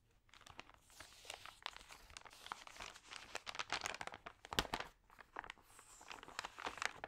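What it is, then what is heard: Glossy paper magazine pages. Long nails and fingertips rub the crinkled thin pages of an open glossy paper magazine, then lift and turn the pages. The result is a quiet, steady stream of bright, sharp crinkles and rustles with short crackling bursts and very little low end.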